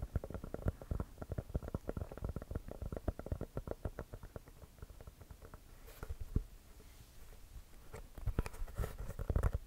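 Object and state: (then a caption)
Composite leather basketball. An inflated, hollow composite leather basketball is held close to the mic and tapped and scratched with fingertips and short nails. Rapid, dull, low-pitched taps with almost no ring fill the first half, a softer, scratchier stretch follows, and the tapping grows louder again near the end.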